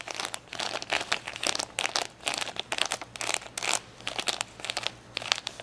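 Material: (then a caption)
Acrylic plastic. Long fingernails tap and scratch across a large, flat-lying plastic sticker sheet of rainbow acrylic rhinestones, with blue and purple rows in front. Quick bursts of bright, crinkly clicking and scraping come in irregular clusters, each dying away at once with no ring.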